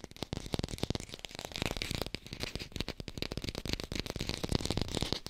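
Long pink nails tap and scratch quickly over an artificial green apple. A dense stream of short, dry clicks and soft low thumps runs throughout, mixed with a bright scratchy rasp. Each tap dies away almost instantly with no ring.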